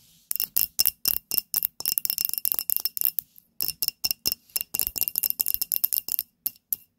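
Long nails tap rapidly on a small glass candle holder filled with pink wax and holding a lit candle. About thirty sharp, bright clicks come in quick bursts, with a brief pause near the middle. Each tap stops almost instantly, leaving only a faint high glassy ring and almost no low end.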